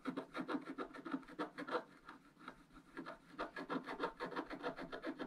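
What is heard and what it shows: A wooden stylus scratches and rubs quick strokes across wax-coated scratch art paper with a rainbow underlayer. It makes a rapid series of soft, dry raspy scrapes, about three per second, that ease off slightly in the middle before resuming steadily.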